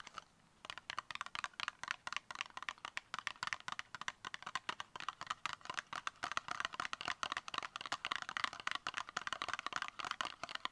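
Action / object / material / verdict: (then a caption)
tap / small cardboard cosmetic box / cardboard / none. Long acrylic nails tap fast on the sides of a small, hollow, brown rectangular cardboard makeup box held upright. A rapid run of dry, clicky taps starts after a brief quiet moment and continues throughout, with a hollow papery knock centred around 1.2 kHz and bright edges. Each tap dies away almost instantly.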